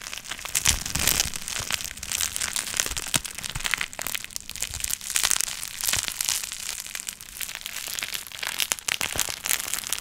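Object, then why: Plastic bubble wrap. A long strip of clear plastic bubble wrap with air-filled bubbles is held up and twisted by hand, fingers wringing and crushing it to pop the bubbles. Dense, bright crackling and sharp pops mix with crinkling plastic in quick irregular bursts. The popping continues steadily throughout the clip.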